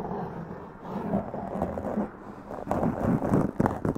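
Long press-on nails scratch a black foam windscreen on a large condenser mic, making a dense, muffled rustling and scraping concentrated in the low and middle range with no high edge. The scratching comes in uneven strokes that grow louder and more forceful in the second half.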